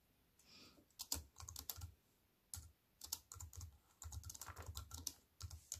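A compact wireless keyboard with black plastic keys on a grey metal-look frame, lying flat on a wooden table, is typed on with fingertips and long white-painted nails. Quick runs of bright plastic clicks and taps with a soft low thud break up into bursts separated by short quiet pauses. A faint soft rustle comes just before the first burst.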